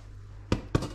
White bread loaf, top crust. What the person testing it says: very nice and hollow at the top